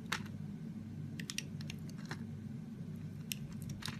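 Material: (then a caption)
Soap. A utility knife blade shaves a solid pink ridged soap bar, sending pink curls falling off. Short, crisp scraping crunches with bright high edges sound at irregular intervals over a steady low hum.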